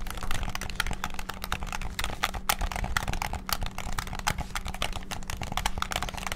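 Fingertips rapidly click the triggers and buttons of a white and black hollow plastic PS5-style gamepad. A fast, dense stream of short, sharp plastic clicks with bright edges rattles on over a steady low hum.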